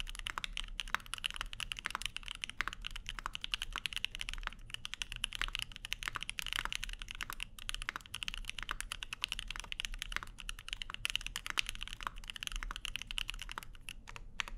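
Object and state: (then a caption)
Mechanical keyboard with aluminium plate and plastic keycaps. Both hands type continuously with their fingertips on a Keycult No 2/65, a 65% mechanical keyboard with Lavender switches, plastic keycaps and an aluminum plate. The result is a fast, steady stream of short, dry, bright clacks centered around 2.8 kHz that stop almost instantly, over a faint low rumble.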